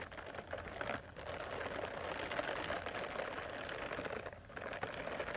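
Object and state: Silicone face cleansing brush.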